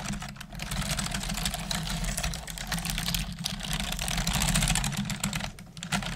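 Both hands with long nails type on the hollow keys of a black plastic desktop computer keyboard, making a fast, uneven stream of bright, clacking clicks. A steady low hum runs underneath throughout.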